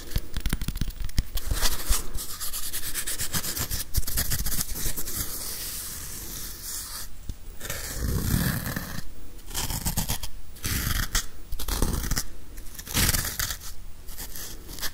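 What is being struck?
Plastic whiteboard eraser with felt pad.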